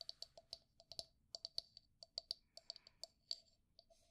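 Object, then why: Wooden brush holder cup. Long nails tap and scratch the outer wall and base of a hollow, pale wooden cylindrical cup holding makeup brushes, held on its side. About twenty quick, dry, bright clicks come in an uneven rhythm, each stopping almost instantly with no ring. A faint scratchy rustle fills some of the gaps.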